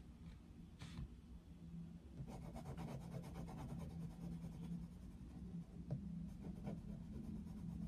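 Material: Paper.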